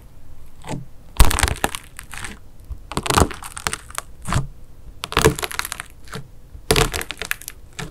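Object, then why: Foam bead clay with a hardened wax crust. A mint-green wax-crusted foam bead clay slime disk is jabbed repeatedly with a fingertip, then pressed with the fingers of both hands. The hardened wax crust cracks into pits with sharp, crisp crunches and crackles over a low background.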